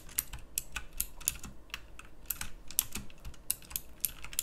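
Fingertips type on a pink plastic mechanical typewriter-style keyboard with round plastic keycaps, producing a quick run of sharp, bright clicks with very short decay. About twenty distinct keystrokes are heard at an irregular typing pace, each a crisp click over a faint low background.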